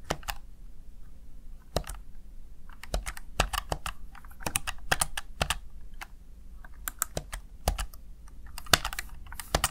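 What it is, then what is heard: Plastic gaming keypad. Fingertips and long nails tap the keys of a small, hollow, backlit plastic Razer Tartarus Chroma gaming keypad in irregular typing taps. Each press is a short, sharp, bright click with a low thump beneath and almost no ring, over a faint low hum.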